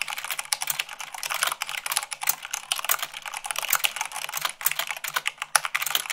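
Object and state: Plastic mechanical keyboard.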